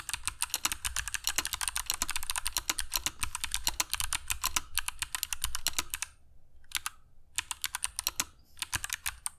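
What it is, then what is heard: Mechanical keyboard with clicky switches and plastic keycaps. A compact mechanical keyboard with grey PBT plastic keycaps and clicky Kailh Box Jade switches, resting on a cork desk mat, is typed on continuously with the fingertips of both hands. Dense, bright, sharp clicks run steadily for about six seconds, then come in shorter bursts separated by brief pauses.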